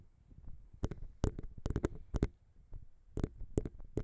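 Long pink nails tap rapidly on the small, hollow metal XY microphone capsules of a Zoom H6. Quick, uneven clicks and taps land over a low, boomy thump that the close capsule picks up, each one dying away almost instantly.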